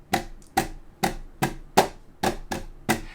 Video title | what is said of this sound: SteelSeries Rival 310 Gaming Mouse Review, IT'S AMAZING! | if you lift it up and you're kind of tapping down it feels like it's a little bit clanky